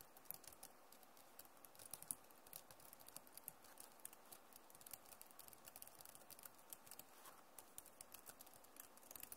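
Fingernails tap on the plastic keys of a backlit Acer laptop keyboard, then both hands type. The result is a quiet, steady stream of soft, rapid, bright clicks with a dry finish and no ring.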